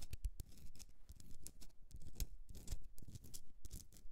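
Long nails scratch the rough, crystalline surface of a pink Himalayan rock-salt candle holder held on its side. The result is a quiet, irregular run of short, dry scrapes and crackles, with bright gritty bursts over a soft low rumble.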